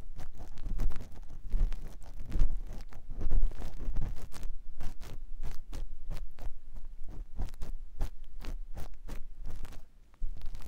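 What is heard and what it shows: A clear silicone ear pick with a yellow handle scratches inside the canal of a white silicone ear on a binaural microphone block. Close, low-heavy rubbing and scraping is broken by many short, irregular crackling strokes with brief bright edges. The sound drops briefly quiet near the end before the scratching resumes.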